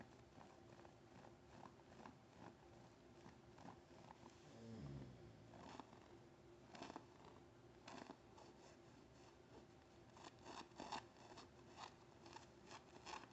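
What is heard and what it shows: A rolled blue-and-white chenille (plush polyester) blanket with a snowflake pattern, tied with a gray ribbon, is held up as a soft, medium-size bundle and scratched and rubbed with long painted nails and fingertips. Quiet, steady fabric scratching and rustling runs throughout, with a brief louder low rub around the middle and sharper bright scratch bursts toward the end.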